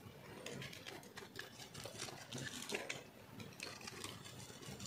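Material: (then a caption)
Soap. A round, solid, pink-white speckled bar of dry soap is held in the hand and scraped and shaved with a metal blade. Quick, crunchy carving strokes run on continuously with bright, crackling scrapes and a soft low rumble underneath.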